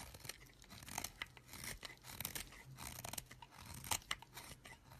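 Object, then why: Solid bar of soap scraped with a knife blade. A solid green bar of soap, held in the hand, has its face scraped over and over with a knife blade, shaving off crumbly bits. The scraping gives dry, bright, crunchy rasps in quick, uneven strokes, with a faint low hum underneath.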